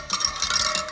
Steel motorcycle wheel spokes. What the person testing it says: bounce it off each of the spokes and we should get a nice ping sound of each spoke